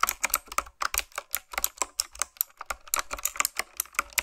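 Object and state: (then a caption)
Mechanical keyboard with round plastic keycaps being typed on. Fingertips type quickly on a retro typewriter-style keyboard with round black plastic keycaps on mechanical switches. About twenty crisp, bright clacks come in an uneven rapid run, each dying away almost at once with almost no low end.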